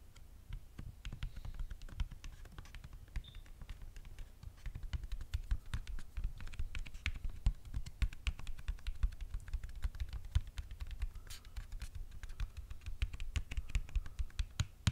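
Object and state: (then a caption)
Cardboard eyelash box tapped and scratched. A flat, square, red printed paperboard eyelash box, hand-sized and hollow, is held up and quickly tapped and scratched with long fingernails. Rapid, dry clicking taps with a soft, low, hollow thump underneath mix with brief scratchy rasps. Each sound dies away almost at once.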